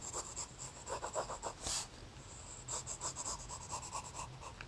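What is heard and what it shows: A graphite pencil held in a hand sketches a round head outline on a thin lined notebook page, making a quiet run of scratchy, bright strokes with a faint low hum underneath. The strokes come in short bursts with brief pauses between them. One louder, breathier swipe stands out near the middle.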